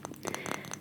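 Fingers tap on a small ceramic elf figurine that is a little hard to tap on, giving a quick run of light, dry clicks. Each tap is a brief bright tick that stops almost at once with no ring.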